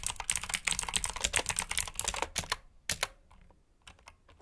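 Fingertips of both hands type on a black mechanical keyboard with plastic keycaps. A quick, uneven run of bright, sharp clicks clatters densely for about two and a half seconds. It then thins to a few sparse, fading taps.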